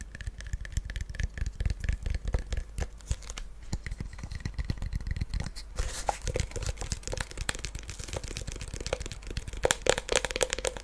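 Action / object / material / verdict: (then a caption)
tap / small wooden chest with metal studs and latch / wood / none. A small hollow wooden mini treasure chest with faux-leather straps and brass studs and latch is held in the hands and tapped and scratched with fingernails. Rapid, dense fingernail clicks and taps land over a low hollow thump, with a faint ring near 500 Hz. About halfway through, the sound shifts to brighter, hissier scratching that continues to the end.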